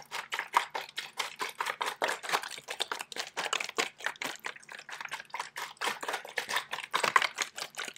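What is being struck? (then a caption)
Plastic water bottle. A hand with long pink nails squeezes and shakes a hollow, clear, crinkled plastic water bottle with a white cap and blue label. It gives a rapid, steady run of sharp crackling and crinkling clicks. The texture is bright, with no low end.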